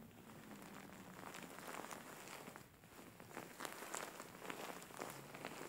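Fingertips and nails scratch the fur of a large, soft, grey faux fur pillow with a soft filling. The result is a quiet, steady, crinkly rustle, broken by brighter, sharper scratches that rise out of the texture, especially toward the end.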